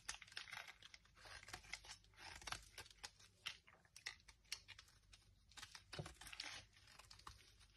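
A palm-sized, solid oval bar of dry blue marbled Dettol soap, held in the hand, is carved and scraped with a small metal knife. A quick run of crisp, bright scraping crunches and tiny clicks is heard, each dying away almost instantly with little low end. Brittle flakes break off the bar.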